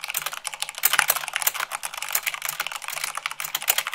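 Fingertips with long acrylic nails type fast on a full-size plastic mechanical keyboard with white plastic keycaps on a black base. A dense, continuous stream of sharp, bright clicks and clacks comes with little low end, and a few deeper thocks stand out.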